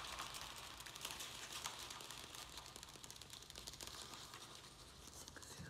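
A round black plastic plant pot holding soil and a small succulent is held in both hands while fingertips and nails scratch and squeeze its thin plastic walls. The result is a steady, dense, irregular crinkling and scratching with a bright, high-heavy tone and little low end, staying fairly constant throughout.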